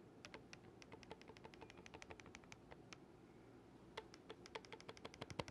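Fingertips rapidly click the silver metal keys of a single oboe with a dark wooden body, held upright and then horizontally. Dozens of short, dry, bright clicks come in quick irregular runs, with a brief lull around the middle before they resume more strongly, over a faint low background hum.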